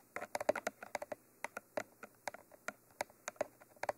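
Long manicured nails tap and scratch across the top of a Mitra 3D Pro binaural microphone, a mid-sized hollow cylindrical tube with a textured black coating and white end cages. About seventeen quick, dry clicks with a hollow mid-range knock sound in an uneven rhythm, each dying away almost instantly, with faint scratchy texture between them.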